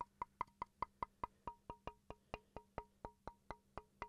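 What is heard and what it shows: A small solid wooden chopping board, held at an angle, is quickly tapped with a wooden pencil, giving 19 short, dry knocks at a steady pace. Each tap is a hollow wood-block tock with a clear tone near 1 kHz and a lower note around 450 Hz that becomes more noticeable in the later taps. The hits die away almost instantly and the whole sequence is quiet.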